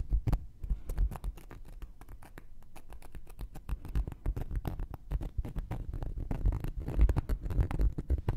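A thin wooden knitting needle taps and pokes the surface and rim of a round, flat, solid cork coaster held in one hand. It makes a steady, uneven patter of dull, soft, low thuds, about two per second, with short clicks and no ring.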